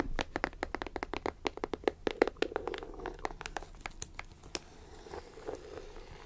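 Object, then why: Cardboard puzzle box. Long acrylic nails scratch and tap along the top edge of a closed, printed cardboard puzzle box held in hand. Quick, irregular, dry clicks with no ring ride over a faint steady low hum, then thin out into softer scratching for the last couple of seconds.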